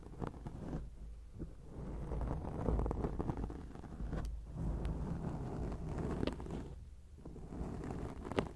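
Long acrylic nails scratch a round grey foam windscreen on a microphone, producing a close, muffled, rumbling scrape. The low, dense texture swells and fades in waves with occasional sharper scratches, and there is almost no high-end brightness.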